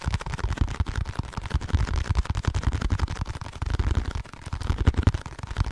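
A small blue and white printed cardboard packaging box, hollow and held close to the microphone, is tapped and scratched with fingertips and nails. The result is a steady stream of quick, dull, low thumps mixed with soft scratchy rustling, with little brightness and almost no ring after each tap.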